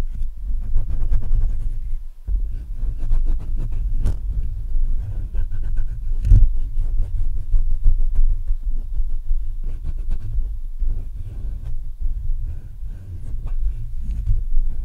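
Fingertips of both hands scratch and tap the metal mesh grille of a black Blue Yeti microphone. The result is a steady, close, low rumbling roar with dense scratchy friction and dull thumps, with almost all the energy deep in the bass, broken by a brief drop near the two-second mark and a sharper knock around six seconds.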